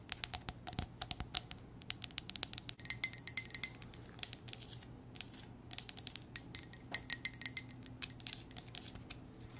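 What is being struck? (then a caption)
Ceramic coffee mug. Long nails tap and scratch an empty, hollow black ceramic coffee mug with white text. Quick, irregular clicks with bright, high ringing that dies away almost at once, over a faint low hum.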